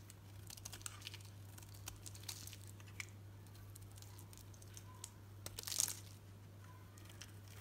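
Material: Soap.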